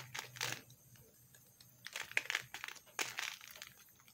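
A metal knife scrapes along the edge of a thin slab of pink soap held in the fingers, shaving off crumbly flakes. The clip is quiet, with bright, dry bursts of crinkly scraping separated by near-silent gaps and almost no low end.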